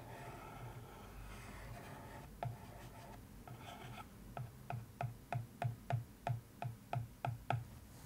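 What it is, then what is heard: Paper-covered cardboard box lid. A thin wooden stick traces and scratches across the surface of a cardboard box lid covered in newspaper print, giving a soft, papery rasp for the first couple of seconds. It then taps the lid 13 times in a steady rhythm, each a dull, short knock with almost no ring.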